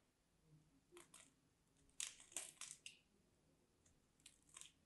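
A solid, dry, mint-green striped bar of soap, held in hands with black nails, is scraped and cut with a small craft knife. Eight crisp, bright crunching scrapes come in irregular bursts, the loudest clustered in the middle. Quiet pauses fall between them.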